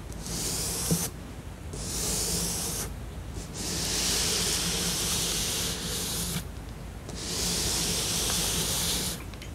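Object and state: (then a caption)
Cardboard jigsaw puzzle. One hand with long nails slowly rubs and scratches across the printed surface of a flat cardboard tiger jigsaw puzzle. Each stroke makes a bright, hissing scrape, with brief quieter pauses between them. A faint, steady low hum sits underneath throughout.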